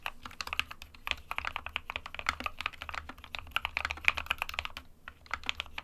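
Fingertips of both hands type continuously on an SK61, a small 60% white plastic-cased mechanical keyboard with plastic keycaps resting on a desk mat. A rapid, uneven stream of short, dry, bright clacks fills the clip with no ringing, over a faint low hum.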